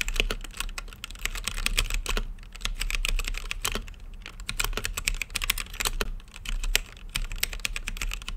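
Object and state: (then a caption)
Plastic mechanical keyboard with acrylic case. Fingertips type continuously on a plastic mechanical keyboard with plastic keycaps in a translucent acrylic case. The result is a rapid, uneven stream of short, bright clacks that stop almost instantly, over a steady low hum.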